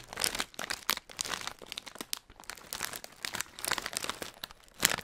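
A hand-sized Hot Nuts snack bag of printed plastic foil, which looks full of peanuts, is held in the fingers and crinkled and squeezed by the fingertips in front of the microphone. Dense, bright, crackling crinkles come in a rapid string of uneven bursts with almost no low end, and each crackle stops dry with no ring.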